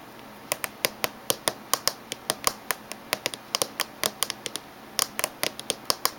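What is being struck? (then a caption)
Laptop casing. Fingernails tap and lightly drum on the top surface of a closed silver laptop casing, heard close up. Twenty-nine short, dry, bright clicks with a tone around 1.1 kHz land in an uneven rhythm, each dying away almost instantly over a quiet background.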